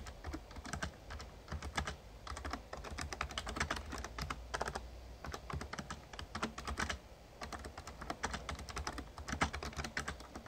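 Fingertips type steadily on a Razer Ornata Chroma, a full-size backlit plastic mecha-membrane gaming keyboard. A dense run of quick, dry key clicks comes in bursts with brief pauses, each tap dying away almost instantly. A low, steady hum sits underneath throughout.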